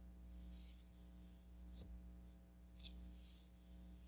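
A thin wooden stick is dragged and stirred through fine pink craft sand filling a small striped onyx stone cup, producing soft, bright, hissy rubbing and scraping swells over a steady low hum, with a brief sharp tick as the stick catches. The sound is quiet and continuous throughout.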